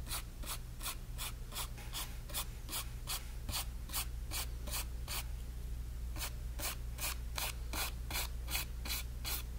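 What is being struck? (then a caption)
Flat brush on stretched cotton canvas. A flat brush held in the fingers is rubbed in strokes across the painted surface of a stretched cotton canvas panel. Each stroke makes a soft, bright swishing brush sound at a steady rhythm, with a short pause partway through. A constant low hum sits underneath.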